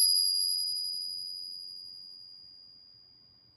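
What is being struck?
Nothing is struck.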